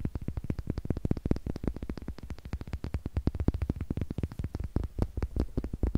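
Two small, solid, light wooden eggs, one held in each hand, are tapped with long nails and knocked against each other. A rapid, steady stream of short, dry, hollow knocks follows, about fifty in six seconds, each snapping off almost instantly. The knocks are weighted toward a low, woody thump with a faint bright click on top.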